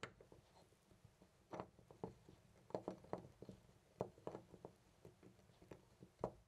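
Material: Metal.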